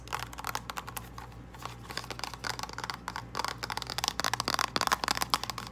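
Long acrylic nails tap and scratch a small, hollow, flat purple printed cardboard false lash box. Quick, dry, bright clicks and papery scratches come in uneven bursts with almost no ring, over a faint steady low hum.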